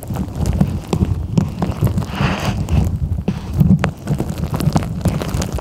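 A fingertip and nail tap on the green lid of a clear plastic tumbler filled with beads and gems. The taps come as a quick, steady run of dull, low thuds with almost no ring, and a faint soft rustle rises briefly in the middle.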